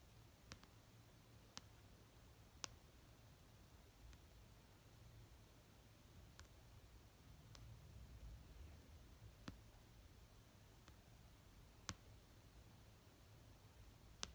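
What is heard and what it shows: Long painted nails tap slowly on the front cover of an orange paperback novel resting on a fluffy blanket. Eleven short, sharp, bright clicks are spaced far apart over a quiet, low, steady hum.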